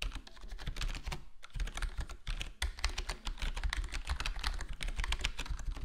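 Fingertips of both hands type on a full-size black plastic gaming keyboard, a HyperX Alloy Core with square plastic keycaps and a foam-dampened case. Dense, steady keystrokes give soft, muted clacks with a deep low thump and a bright tick, pausing briefly near the middle before carrying on.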